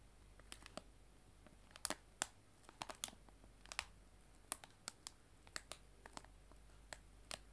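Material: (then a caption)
Cellophane. A clear cellophane bag of loose dried tea lies flat on a table and is tapped with fingertips and long nails, giving about twenty quiet, sharp, bright crinkly clicks spread irregularly over the clip. Each tap is very short with almost no ring, and a faint steady low hum runs underneath.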